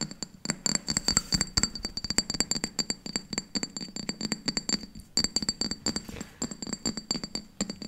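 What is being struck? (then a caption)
Glass bowl. A round, pale green glass bowl, hollow and empty, is held in both hands and tapped rapidly with long painted nails. It gives a fast, steady run of sharp, short clicks, each with a bright, high glassy ring that dies away almost at once, over a faint low thud. The tapping briefly pauses around the five-second mark before continuing.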